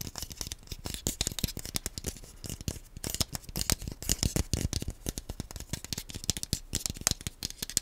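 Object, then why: Plastic game controller nunchuk. A small, hollow, black plastic Wii nunchuk controller is held in both hands close to the microphone and tapped and scratched with the fingernails. A rapid, uneven stream of dry, bright clicks and scratchy rattles comes through, each tap dying away almost instantly.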